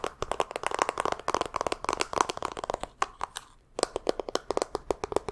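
A pink rectangular plastic makeup palette compact with an embossed pattern and a hollow case is held in both hands and tapped rapidly with long fingernails, then handled and opened. The result is a dense run of sharp, dry cracks and clicks centred around 1 kHz with bright edges, each dying away almost instantly. There is a brief lull just before the four-second mark.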